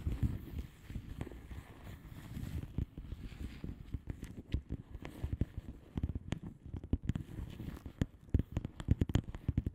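Long manicured nails of both hands tap and scratch a flat blue plastic bubble wrap mailer envelope with air-filled bubbles. Soft, dull, low-pitched taps and a muffled scratching rustle fill the first part, then give way to quicker, sharper clicking taps toward the end.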